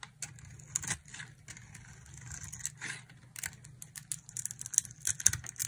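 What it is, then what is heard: Dry soap bar being carved. A utility knife blade carves a solid oval purple dry soap bar held in the palm, scraping off purple flakes. Crisp, bright scraping and crackling strokes come in quick, irregular bursts over a faint low hum.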